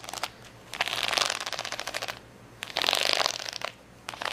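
Long fingernails scratch across a large, flat plastic sticker sheet of rainbow acrylic rhinestones. They make two long passes of rapid, bright, crackling clicks, with shorter bursts at the start and end. The sound is dry and high-pitched, with no low end or ring.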